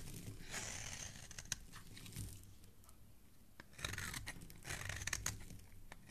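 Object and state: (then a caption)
Soap bar being shaved. A metal blade scrapes and shaves the surface and edge of a solid, hand-sized pink bar soap, held by fingers with dark painted nails, peeling it into curly flakes. Soft, crunchy, tearing scrapes come in bright bursts with a low rumble underneath and a few sharp clicks. The sound dips quiet in the middle before another run of scraping.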